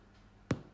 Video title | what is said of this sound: The Easiest Loaf of Bread You'll Ever Make | when i tap it it's very hollow which is what you're looking for